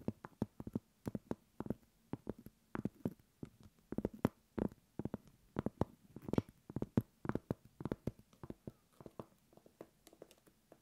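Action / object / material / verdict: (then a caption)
tap / round cork coaster / cork / none. Long acrylic nails tap and scratch a flat, solid round cork coaster about 15 cm across, held upright. The clip has a quick, irregular run of short, dry, dull knocks with a low-mid body around 240 Hz and almost no ring. Light scratching fills the quiet spaces between the taps.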